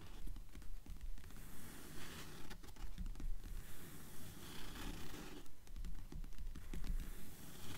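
Long nails scratch and tap the paper pages of an open blue paperback book. Quiet, soft, dry scratches and light taps repeat in a loose rhythm, about two per second, with a low, muffled tone and no ring after each touch.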